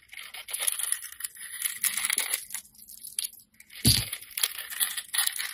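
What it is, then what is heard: Glitter-coated soap bar being carved. A metal utility-knife blade scrapes and carves the purple glitter coating and soap off a hand-held solid white soap bar. The result is a dense run of crisp, bright scraping and crunching with a brief pause just past the three-second mark, followed by a heavier, fuller crunch before the scraping resumes.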